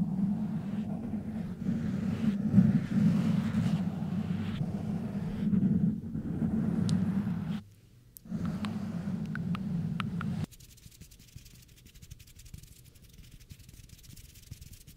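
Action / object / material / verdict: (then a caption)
scrape / foam microphone windscreen / foam / none. Hands with long dark-painted nails scratch and rub a soft, porous black foam windscreen fitted over the hollow head of a large microphone. The result is a dense, low, rumbling scratch that briefly drops out just before the 8-second mark. The rubbing then stops abruptly at about 10.5 seconds, leaving only a faint, quiet rustle.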